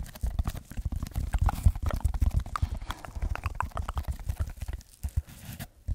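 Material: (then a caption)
Foam. Fingertips and nails scratch and tap a rectangular red textured foam block held in front of a microphone. A dense, irregular run of soft, muffled thumps and brushing scratches comes through, heavy in the low end with very little brightness. Each tap is dry and dies away almost at once.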